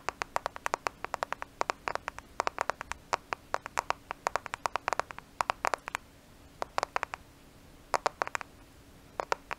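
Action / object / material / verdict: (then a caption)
tap / smartphone with glass and plastic body / glass / none. A black smartphone with a glass and plastic body, held in both hands in front of a microphone, is tapped on its flat surface with fingertips and nails. Dozens of sharp, dry clicks come in quick irregular bursts, centered around 1 kHz with bright edges and no ring. The tapping pauses briefly near the six- and seven-second marks over a faint steady low hum.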